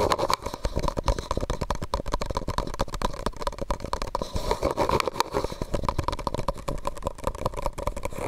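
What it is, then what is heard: Plastic cup tapped with fingernails. A medium white disposable plastic cup, hollow and empty, is held over the microphone and tapped and scratched with fingernails. The result is a steady run of quick, dry clicks and scrapes, with a hollow resonance around 1 kHz and 600 Hz and a muffled low rumble beneath.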